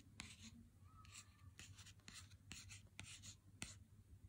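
A full Lindt Excellence 90% cardboard chocolate box, held in the hand, is rubbed and scratched with a single fingertip and nail. Quiet, dry, bright scratching strokes with sharp clicks come in short bursts over a steady low hum.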